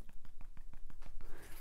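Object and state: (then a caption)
Hard plastic insert in a running shoe sole. A finger taps nine times in quick succession on the inner side of a running shoe sole built for an overpronator, where a solid, non-compressible plastic insert rebalances the foot. Each tap is a short, dry, hard knock that dies away almost instantly, clearly sounding like plastic.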